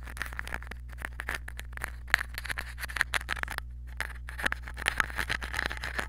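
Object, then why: Crumpled aluminium foil ball scratched with a pen tip. A small crumpled aluminium foil ball, probably wrapped over the head of a mini microphone, is held in the fingers and scratched with a pen tip. It makes dense, bright crinkling and scratching with many sharp, quick clicks centred around 1.8 kHz, over a steady low hum.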